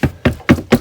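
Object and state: Water-damaged soft RV wall panel.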